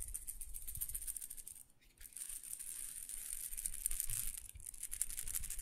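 A small glass pepper grinder jar with a black plastic grinder top, filled with whole black peppercorns, is held in one hand and shaken so the peppercorns rattle against the glass. The result is a dense, bright, crisp rattling with a soft low rumble beneath. It pauses briefly just before the two-second mark, then picks back up and continues steadily to the end.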